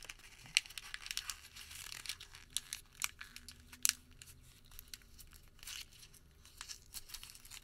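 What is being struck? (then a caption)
Thin thermal paper receipt. Fingertips squeeze and crinkle a small crumpled ball of thin thermal paper receipt, then partly open it. The result is quiet, dry, bright crackling with sharp, tearing-like snaps scattered throughout and almost no low end.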